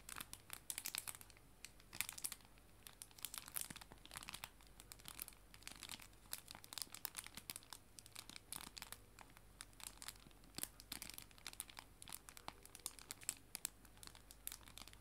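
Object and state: Clear plastic bag of paper prints being crinkled.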